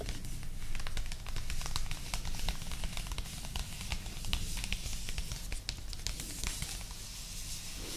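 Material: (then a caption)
Paper, card. Long acrylic nails tap and scratch across the glossy printed card cover and edges of a solid, medium-sized paperback novel, "Un pizzico di Joy," lying flat. Crisp, irregular clicks and bright scratchy scrapes come in quick succession, each dying away almost at once, over a steady low hum.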